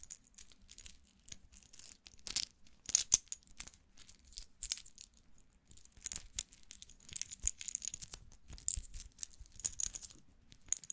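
Fingertips handle a small gold-tone metal wristwatch held in the hands, folding and clicking its metal link bracelet. The result is a quiet, close stream of bright, crisp metallic clicks and light rattling that stops almost instantly, with little low end.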